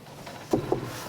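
Two knocks on old doors made of solid, chunky timber, each a short, dull woody thud with a low-mid tone that fades quickly.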